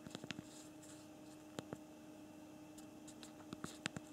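Thumbs press the keys of a physical plastic keyboard on a BlackBerry Priv smartphone while typing, giving about 11 short, dry clicks with almost no ring. They come as a quick burst at the start, a pair in the middle and a few more near the end. A steady low hum with faint tones around 300 and 600 Hz runs underneath.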